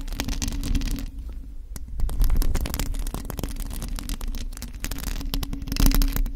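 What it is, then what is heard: Metal mesh microphone grille being scratched and tapped. Long acrylic nails on both hands scratch and tap a bare, hollow black metal mesh microphone grille. A dense, continuous stream of rapid scratches and tapping clicks sits over a heavy low rumble, with a steady hum-like tone near 270 Hz and short bursts of bright scraping throughout.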